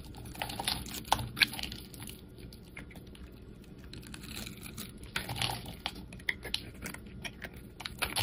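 A pink and white striped solid bar of soap is held in the hand and shaved with a metal utility blade, curls peeling off. Soft, bright, crackly scraping and irregular ticking cuts come in bursts, louder at the start and end with a quieter stretch of faint scraping in the middle.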